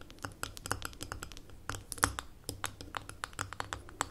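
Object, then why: Glass jar with metal lid. Long nails tap and scratch the gold metal lid of a small labeled amber glass jar standing on a table. The result is a quick, uneven run of short, dry clicks with a bright tick near 1.2 kHz and scratchy high edges, each one dying away almost instantly. A faint low hum runs underneath.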